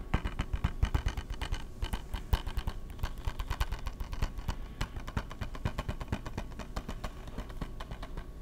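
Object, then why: Plastic video game case. Fingertips and nails rapidly tap and scratch a small, rectangular, hollow, clear plastic Madden PS3 video game case and its edges, held close to the mic. The result is a dense, continuous patter of short, dry clicks and light scrapes, each with a soft low thump beneath bright ticking edges.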